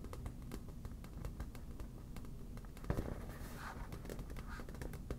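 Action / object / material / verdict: tap / inflated vinyl beach ball / vinyl / none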